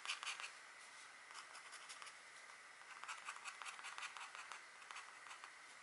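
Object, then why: Scratch art board, black coating over foil. A stylus in a green holder, held by a hand with long painted nails, draws lines across a flat, thin scratch art board whose black coating scrapes away to reveal gold foil. The result is a steady, quiet, bright scratching with repeated short strokes throughout.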